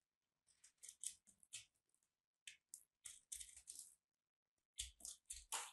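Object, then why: Dried soap chunk. A metal blade cuts and scrapes into a small, solid, crumbly dried soap chunk, white and purple, held between the fingers of one hand with long painted nails. The result is quiet, bright, crisp crunching and scraping, heard as short bursts grouped in three clusters with brief silences between.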